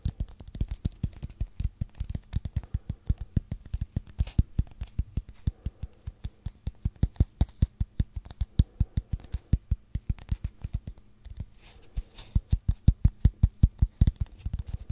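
A long, hollow brown cardboard tube held horizontally in both hands is scratched and tapped with fingernails. Rapid, somewhat irregular taps make short, dull, low thumps with no ring, over faint scratching.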